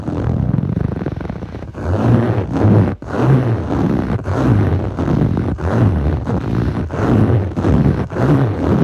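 Clawed fingertips with short nails scratch across the textured surface of a blue foam yoga mat, a soft solid sheet. The result is a steady, dull, low rasping scrape in repeated strokes, broken by brief pauses between passes, with little brightness.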